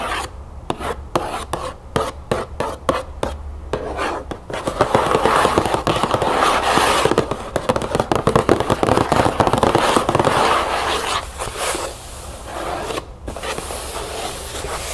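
Both hands scratch quickly with long nails on the back panel of an upright cardboard cereal box. The first few seconds are short, separate raspy strokes with brief gaps. The scratching then builds into a dense, continuous dry scraping that is loudest in the middle and eases slightly toward the end.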